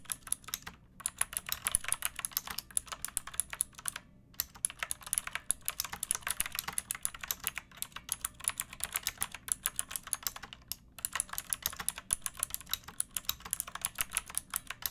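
Long nails and fingertips type steadily on a backlit pink mechanical keyboard with round plastic keycaps and a hollow plastic case. The result is a rapid stream of bright, crisp clacks that die away quickly, with a faint low hum underneath. Typing pauses briefly near 1, 4 and 11 seconds.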